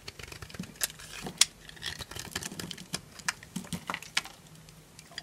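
A small knife carves flakes from a solid yellow bar of dry soap held in the palm, scraping and cutting through it. A series of quick, crisp, crunchy scrapes and clicks, bright and dry with almost no ring, is heard over a quiet background.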